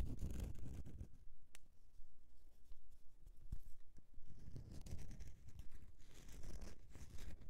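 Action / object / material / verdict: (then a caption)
scrape / solid bar of soap / soap / none. Long nails scratch across the embossed face and sides of a solid bar of soap. The result is a quiet, uneven run of dry, raspy scrapes with a soft low rumble underneath and bright hissy bursts, pausing briefly before the scratching picks up again.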